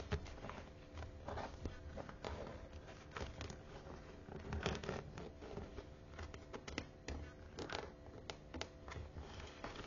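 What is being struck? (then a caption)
Faux leather cover of a thick hardbound book. Long manicured nails tap and scratch the teal, perforated faux leather cover of a thick, closed hardbound study Bible held upright in the hands. Quiet, dense scratching and rustling is broken by sharp, bright clicks of nails on the textured cover, over a low, steady hum.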